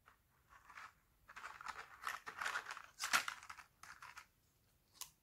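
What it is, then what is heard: Dried laundry soap plates, brittle. Thin, brittle, solid red sheets of dried laundry soap on a white table are snapped and crumbled into flakes by fingertips and both hands. Dry, crisp crunching and crackling come in bursts, with a sharper, brighter snap near the middle and a final quick crackle at the end.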